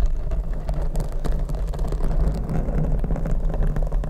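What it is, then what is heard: Foam microphone windscreen being scratched. Long red nails on both hands scratch a large, hollow black open-cell foam windscreen fitted over a Rode microphone. The result is a dense, continuous, muffled scratching rumble that stays low and boomy with almost nothing bright on top.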